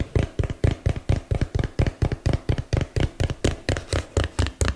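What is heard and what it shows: A small hollow printed cardboard box, held in both hands, is tapped with fingertips and nails close to the mic. About 23 quick, dull, hollow thuds come at a slightly uneven pace, each deep and boomy with a faint crisp click and almost no ring.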